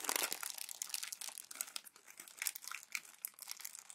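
Glossy magazine pages are crumpled into folds and rubbed by bare hands with long nails. The result is a dense, bright crinkling and crackling with no low-end body, loudest in the first half-second and then continuing in shorter bursts.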